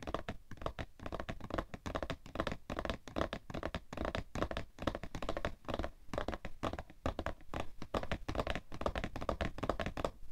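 A cardboard tissue box held in both hands is tapped rapidly on its sides with fingernails. The result is a dense, steady stream of short, dry, hollow taps and thunks with a low body and a mid-range ring around 670 Hz, each dying away almost instantly.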